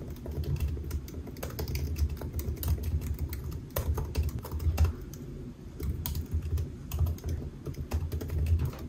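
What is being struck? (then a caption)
Laptop keyboard with plastic keys. Fingertips of both hands type on a solid silver aluminium laptop with black plastic keys resting on a white desk. The result is a steady stream of soft, muffled key taps with a low thumping body and brief sharp clicks that stop quickly. The typing pauses briefly around the middle.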